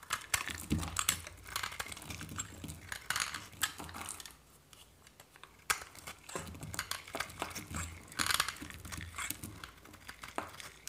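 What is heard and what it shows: A metal knife blade scrapes and shaves a hand-held, solid white dry soap bar, curling flakes off it. The sound is a series of dry, crisp, crackling scrapes with a bright, papery texture. There is a brief quiet pause in the middle before the shaving strokes resume.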